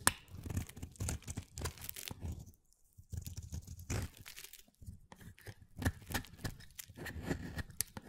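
A utility knife blade cuts and scrapes a hand-sized, pale mint solid soap bar into flaky shavings. Repeated crisp, papery strokes with a low, dull body and a bright edge are broken by two short pauses. Each stroke stops dry with almost no ring.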